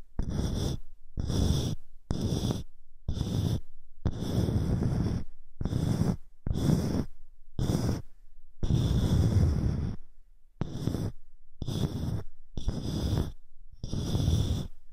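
Long fingernails tap and scratch the top of a round, dark wooden box held in one hand. A series of short, dull, low-pitched scratching bursts comes through, separated by brief pauses.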